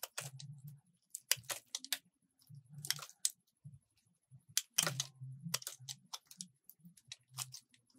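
A solid purple bar of soap held in the hand is shaved and carved with a metal utility-knife blade, scraping and cutting as crumbly flakes fall. Short, bright, crisp scraping and clicking bursts come in irregular clusters over soft low thuds, each sound stopping dry with almost no ring.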